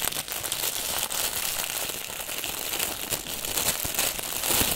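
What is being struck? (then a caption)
Plastic film wrap on a packaged bundle. Fingertips and palms grip, squeeze and rub the clear plastic film wrapped around a long packaged bundle from a NEEWER photo-studio kit. The result is a steady, bright crinkling and crackling with little low end, swelling in short louder bursts throughout.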